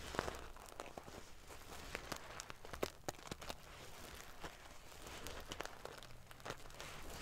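Fingernails scratch and ruffle the silver metal paillettes covering a sequin pillow, producing quiet, prickly crinkling and rustling. Many sharp, bright clicks stand out over a low, steady background.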